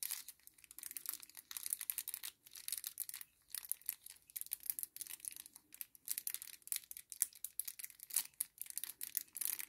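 A small kraft paper sachet resting on a table is lifted, folded and crumpled with the fingers. The result is soft, quiet crinkling in a steady string of short, bright, papery bursts with brief pauses between them, almost all of it high and hissy with no low end.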